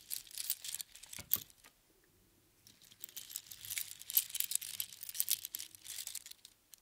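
A strand of small hollow spiral seashells on string rests in one palm and is picked at and jostled with the fingertips of the other hand. The result is bright, dry clicking and crinkly rattling, with a quiet pause near the middle and then denser bursts of clatter.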